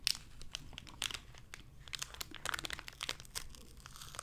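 A small, hollow, clear plastic blister package with a printed card insert, holding a lanyard, is crinkled and squeezed with fingertips and long red-painted nails. Bright, dry crinkles and sharp plastic crackles come in quick, irregular bursts with no ringing, over a faint low background hum.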